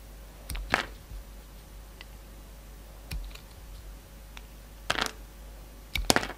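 A utility knife blade carves and shaves a solid, hand-sized pink soap bar with a magenta outer layer. Several short, crisp scraping and cutting bursts with bright, dry clicks stand out against a quiet, faint steady hum, with the loudest cuts near the end.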